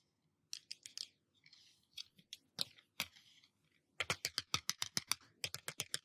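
Fingertips or nails tap on a glass surface, making short, bright clicks with almost no ring. Scattered taps and soft scratchy brushing come first, then a quick, steady run of taps fills the last two seconds.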